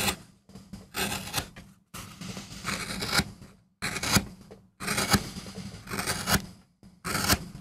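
A wooden-handled steel gouge scrapes and cuts into a small, flat, solid MDF relief printing block, leaving chips around it. Short, bright, rasping strokes come in uneven bursts with brief pauses between them, over a steady low hum.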